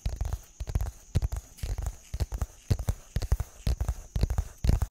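Fingertips tap and scratch the faces of a small, hollow, printed brown and white cardboard product box with a label, held in both hands close to the microphone. Irregular dull, low, hollow thumps come about twice a second, each dying away almost at once, with soft scratchy rustles between them. A faint, steady high-pitched tone runs underneath throughout.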